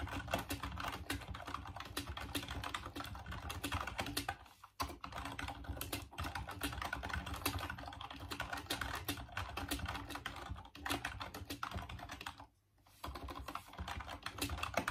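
Fingertips type steadily on the keys of a full-size off-white plastic Dreamcast computer keyboard, making a dense stream of short, dry plastic clicks and clacks. Typing pauses briefly about a third of the way in and again near the end, then resumes.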